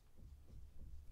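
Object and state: Nothing is struck.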